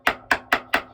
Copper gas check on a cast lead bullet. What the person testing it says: you'll hear it change tone. Hear that? When it's all the way on.